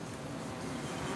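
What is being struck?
Nothing is struck.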